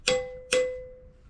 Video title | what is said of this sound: ANODES ZINC ET SUPPORTS | ça résonne comme une cloche c'est que c'est bien soudé